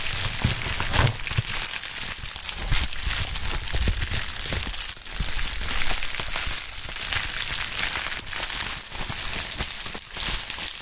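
A pink plastic bubble wrap sheet is crumpled over a mat, lifted, squeezed and crinkled by gloved hands. It makes continuous bright crinkling and crackling with dense clusters of small snaps and some low rustling thumps. The sound stays close and steady throughout.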